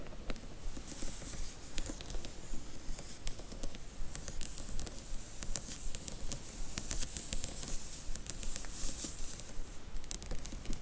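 Long nails scratch and tap up and down a row of paperback book spines in a cardboard Harry Potter box set. The result is a quick, fairly steady run of dry, bright scratches and soft taps that stop almost instantly, with a faint hiss-like texture throughout.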